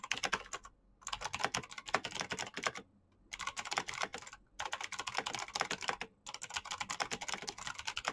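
Fast fingertip typing on a black plastic mechanical keyboard with green clicky switches produces dense, bright, sharp clicks. The keystrokes come in quick bursts broken by short pauses, and each click dies away almost instantly.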